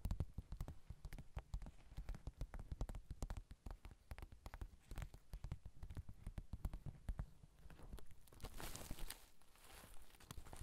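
A small soft pouch covered in reversible plastic sequins is held in both hands above the recorder while fingertips and nails rub and scratch the sequins back and forth. The result is a dense, uneven stream of quick, dry clicks and ticks with a soft low thump under them. Near the end the scratching turns into a brighter, hissy swish.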